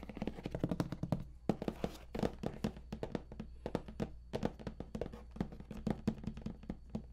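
Fingertips of both hands tap rapidly on the top lid of a large StarCraft II Heart of the Swarm collector's edition box, made of printed cardboard, hollow and likely with contents inside. The result is a quick, uneven run of soft, dull thunks with a low hollow body around 200 Hz, very little brightness, and almost no ring after each tap.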